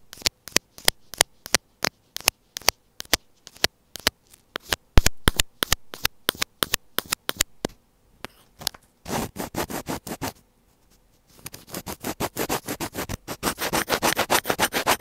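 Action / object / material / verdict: scrape / plastic earphone inline mic housing / plastic / none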